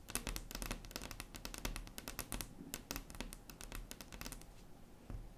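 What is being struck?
Wooden tabletop tapped with long fingernails.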